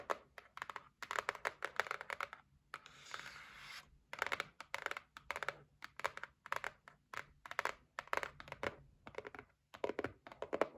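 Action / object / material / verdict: tap / cardboard gift box / cardboard / none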